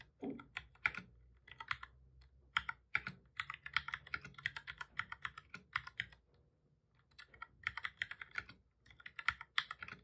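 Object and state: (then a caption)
Plastic computer keyboard. Fingertips of both hands type on a black full-size plastic computer keyboard, producing bursts of quick, bright, dry key clicks with short pauses between runs and a longer lull just past the middle. Each key press is sharp and dies away almost instantly, with little low-end weight.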